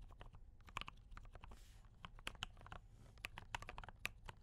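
A compact D84 mechanical keyboard with brown switches and cream and red plastic keycaps is typed on continuously with both hands' fingertips. The result is a steady stream of short, bright plastic clicks and clacks, each dying away almost instantly, over a low background rumble.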